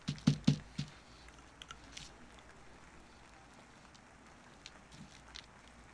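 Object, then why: Soap bar carved with a knife. A solid bar of soap, held upright and flat on paper, is scraped and carved with a wooden-handled carving knife. Four crisp, low scraping strokes come in the first second, followed by sparse, quieter ticks and light scratches over a faint steady hum.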